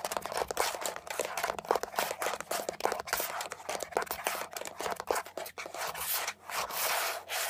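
Long nails rapidly rub and scratch the textured surface of a beige, hollow plastic air freshener dispenser housing with leaf cutouts, held upright. Dense, fast scratching mixes with quick, short plastic clicks and a bright, hissy texture over a faint steady low hum, continuing unevenly throughout.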